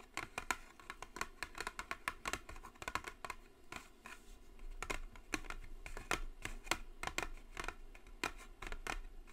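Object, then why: Cardboard box. Long blue acrylic nails tap and scratch the top of a flat, hollow white cardboard gift box with gold "JISEN" lettering, lying on a speckled table. Dozens of quick, dry, bright clicking taps come in an uneven stream and die away almost instantly. Softer scratching strokes fill the gaps over a faint low hum.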